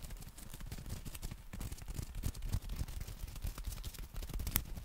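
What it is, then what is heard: Folded nylon umbrella. Fingertips and nails tap and scratch the fabric of a black folded nylon umbrella held in both hands. The result is a steady stream of soft, dull, low thuds mixed with faint, bright scratchy ticks, all at a quiet level, with one sharper tap near the end.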